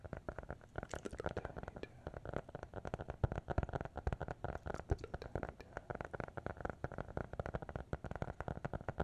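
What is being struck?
Hardcover notebook.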